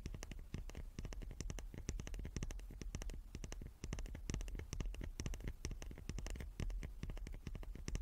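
A small wooden cube is tapped rapidly and repeatedly, giving a dense run of short, dry knocks. The taps are soft, with a dull low body and a quick clicky top, and each dies away almost at once. The rhythm keeps a steady pace with only brief slight dips throughout.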